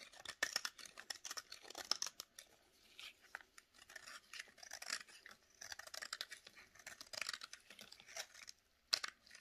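A solid, rectangular bar of dry yellow soap (Fax and Sunlight brands) is held in a black glove while a utility knife blade scrapes and shaves it. The result is a continuous run of quiet, crisp, dry scraping and crackling strokes, bright and airy with almost no low end.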